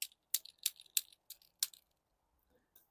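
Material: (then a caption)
Seed pod. A dry sweet pea seed pod is shaken close by, and the seeds inside give a series of short, bright, high-pitched rattles with quiet gaps between them. The rattle means the pod is ready to pick, with its stalk brown and the seeds ready; green pods that make no rattle are not yet ready.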